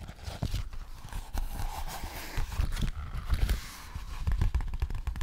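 An empty, frosted, translucent plastic zip pouch from Sephora is held up and tapped and scratched with fingertips and long nails. The result is a busy run of soft, dull taps and muffled thumps mixed with brief crinkly scratching, with quick transients that die away almost instantly.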